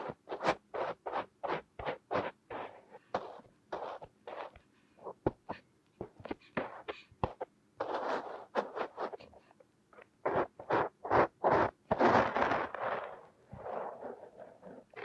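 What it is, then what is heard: Kinetic sand being squeezed and rubbed. Two fingertips squeeze, rub and press a purple kinetic sand mound, leaving ridges and dents in it. Quiet, dry scraping and crunching strokes come in quick, uneven bursts, with a few longer rubbing smears toward the end, sitting in the midrange with a soft bright grit on top.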